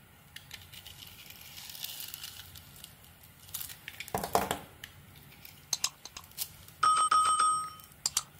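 A solid white bar of soap with a pink glitter coating is held in the hand while a metal blade carves and scrapes off slices and flakes. Soft, dry scraping and crinkly shaving sounds give way to sharp clicks and snaps. Near the end comes a brief, bright, ringing squeal from the blade.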